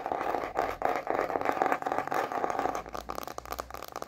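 Long manicured nails tap and scratch the empty face of a thin, solid white plastic cutting board with a red rubber edge, held upright in both hands. A dense, fast midrange scraping rasp with quick taps fills the first three seconds, then thins into sparser, crisp, dry clicks that die away almost instantly.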